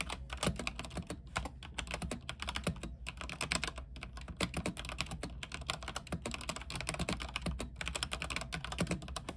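Both hands type rapidly with their fingertips on a backlit mechanical keyboard with white plastic keycaps on an aluminium frame. It produces a dense, continuous stream of short, crisp clacks with bright tops, and each keystroke dies away almost instantly. A steady low hum runs beneath the typing throughout.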